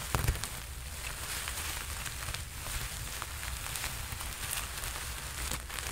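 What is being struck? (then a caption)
Sequin-covered fabric jacket. A red sequin-covered costume jacket is held close to the mic while the fabric is scrunched and fingertips rub and scratch across the sequins. The result is a steady, dense crackling rustle with bright, sharp clicks over a low rumble, with a few louder bursts near the start.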